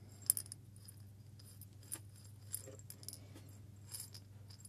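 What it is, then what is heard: Glass jar of coffee beans shaken. A small hollow glass jar with a metal lid, partly filled with coffee beans, is held up and shaken with the fingers. The beans give quick, bright clinking rattles in scattered bursts over a steady low hum.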